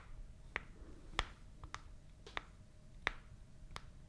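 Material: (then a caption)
Cardboard. Long fingernails tap a small, hollow, white printed cardboard product box seven times at uneven intervals. Each tap is a sharp, dry click with a hollow papery tone around 1.9 kHz and bright edges, dying away almost instantly over a low, quiet background hiss.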